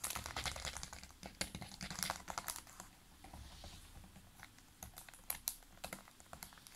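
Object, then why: Full plastic water bottle. Fingertips and nails of both hands tap quickly on the upper part and label of a large, clear, ridged PET water bottle full of water. The result is a fast, irregular patter of short, bright clicks with a light low thump under them. The taps are dense at first, ease off briefly in the middle, and pick up again toward the end.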